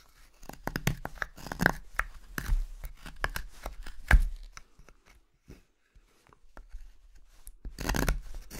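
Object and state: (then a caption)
Wooden spoon blank being carved. A steel knife carves a hand-held spoon blank of solid, pale, light carving wood in repeated slicing strokes, curling shavings off the block. Each stroke is a short, dry, crackling scrape with a bright edge, coming in quick bursts. The cutting pauses briefly near the middle, then resumes with a longer, louder scrape near the end.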